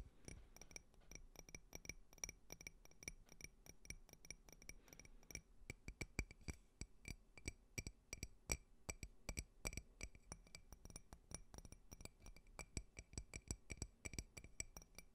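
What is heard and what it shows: A clear, empty, hollow glass tumbler with a faceted pattern is held in one hand while fingertips and nails tap its sides and rim. The result is a steady run of quick, bright clinks and clicks with very short ring, each tap carrying a soft low thump and high glassy overtones.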